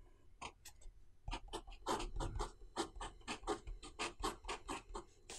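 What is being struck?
Metal-nib pen on notebook paper.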